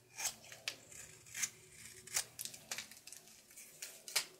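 A solid blue soap bar held in the palm is scraped and carved with a red patterned knife. Quiet, bright, dry scraping strokes come in irregular bursts, each short with almost no low end.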